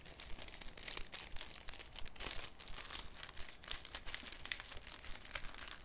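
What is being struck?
Thin cellophane sheet.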